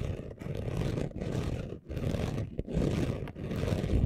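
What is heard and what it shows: Both hands quickly scratch a flat, thin sheet of chunky gold-orange glitter craft paper laid on black cloth, using short natural nails and fingertips. It makes a dense, continuous, rough scratching that sounds like a low, rumbling roar, with a few brief dips where the strokes break. Nearly all of the sound is low and heavy, with almost no bright edge.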